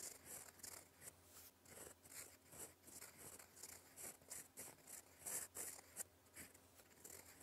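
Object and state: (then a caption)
Fountain pen writing on paper. A gold fountain pen nib writes in black ink on a flat sheet of lined cream paper, scratching across it in cursive strokes. The quiet, bright, dry scratches come in quick, uneven bursts over a faint steady low hum.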